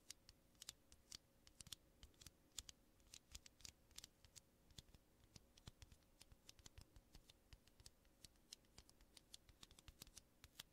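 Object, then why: Aluminum coffee capsules. Two small, hollow aluminum coffee capsules, held in the fingertips of both hands and kept clear of the mic, are tapped and scratched with fingertips and nails. The result is a quiet, steady stream of sharp, bright metallic ticks and clicks that die away almost instantly, with soft scratchy texture between them. A faint steady tone sits underneath throughout.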